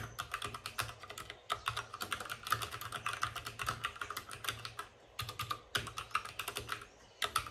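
Fingertips of both hands type fast on a white RGB-backlit mechanical keyboard with plastic keycaps and a hollow plastic case. The result is a rapid, uneven stream of sharp, bright clacks with a hollow midrange ring over a faint low hum, broken by brief pauses.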